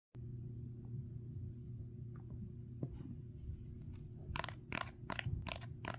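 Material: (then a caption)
Dried clay. A small rectangular foam kitchen sponge, caked in dried, cracked, porous and solid-feeling clay, lies on a wooden table and is then held up in one hand while the fingertips and short nails of the other hand tap on its hard clay crust. A steady low hum runs throughout with faint scrapes, and in the last two seconds about eight bright, crisp, dry taps click sharply off the crust with almost no ring.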